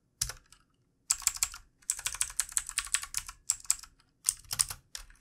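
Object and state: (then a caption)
Plastic computer keyboard being typed on. Fingertips of both hands type on the keys of a backlit plastic computer keyboard in quick, repeated taps. The clicks come in short bursts separated by brief pauses, each one crisp, bright and dry with almost no low end.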